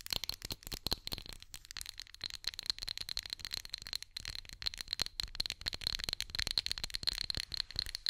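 Long nails tap and scratch the ribbed glass of a small orange pumpkin-shaped glass candle holder with a lit candle inside, held in the hand. A rapid, uneven stream of sharp, bright clicks and scrapes carries a faint high glassy ring. Each click decays almost instantly.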